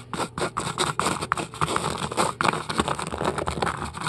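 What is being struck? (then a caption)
Polystyrene foam ball. Long acrylic nails scratch and pick at the surface of a large, solid white polystyrene foam ball. A rapid, uneven run of dry, crunchy scratches and squeaky picks is heard, each sharp with bright hiss and no ring, close and steady throughout.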